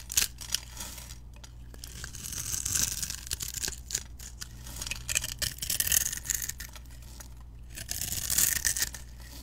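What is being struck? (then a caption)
Soap bar. A metal utility knife blade scrapes across a solid pink soap bar held in hand, pre-scored in a grid with a glittery edge, so small cubes break off and fall. The result is a bright, crisp, crackling scrape in repeated bursts that swell and fade, over a faint steady low hum.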